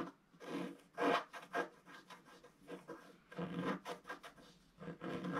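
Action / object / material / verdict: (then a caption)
scrape / black-coated scratch art paper scratched with a wooden stylus / coated paper / none. A wooden stylus scratches wave lines into a solid, flat, black-coated scratch art page about A4 in size. The result is quiet, dry, raspy scratching in short, irregular strokes that swell and fade, with a bright, airy texture and almost no ring after each stroke.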